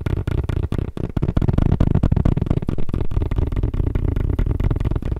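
Fast tapping on a tablet case: quick, somewhat irregular taps at about four per second, each a short, dull, low-heavy thud with almost no ring. The taps run together into a dense, steady patter with no treble.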